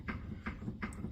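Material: Steel.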